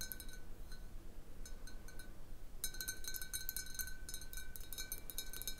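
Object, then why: Large clear glass bottle. Long blue nails tap the sides of a large, hollow, clear glass bottle with a little water at the bottom, standing on a wooden table. Bright, short glassy clinks with a steady tone near 1.5 kHz come in sparse groups at first, then turn into fast, dense tapping after about 2.6 seconds. The taps are quiet and die away almost at once over a low background rumble.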